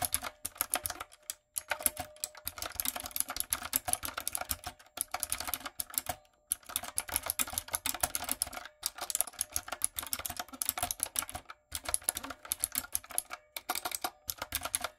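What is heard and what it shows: Fingertips and long nails type steadily on a light-up, typewriter-style retro mechanical keyboard with round plastic keycaps. Rapid, bright, crisp clicks and clacks arrive in dense bursts, separated by brief pauses. The sound has very little low end, and each keystroke cuts off almost instantly.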